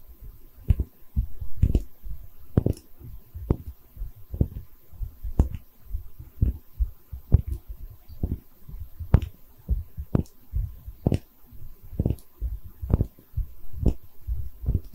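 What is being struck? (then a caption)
Small porcelain bottle. A small, cream-colored, hollow, textured porcelain liquor bottle is held in both hands and tapped with long red nails. Soft, dull, low thuds repeat in an irregular, steady rhythm, each dying away almost at once, over a faint constant hum.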